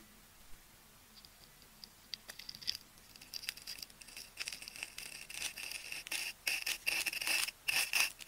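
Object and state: Plastic tape ball being scraped.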